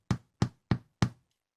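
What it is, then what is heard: Baked bread loaf (hollow). Four hollow, low knocks on a freshly baked loaf of bread, each a short dull thud with a quick decay. The hollow sound shows the loaf is baked through.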